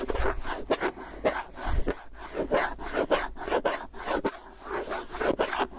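A round plastic tub with a white lid and clear, hollow body is held in one hand while fingernails scratch and tap along the lid rim and the side. Dry, raspy scratching runs in irregular bursts, broken by around ten sharp, short taps with a hollow, mid-pitched plastic ring.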